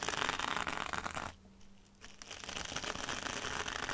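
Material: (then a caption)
Mesh fabric. Long dark red almond-shaped nails scratch and tap a small rectangular scouring sponge wrapped in red sparkly mesh fabric, lying on a dark glitter mat. The result is a dense, bright, crackly scratching texture with quick taps. It drops to near silence for about half a second in the middle, then resumes.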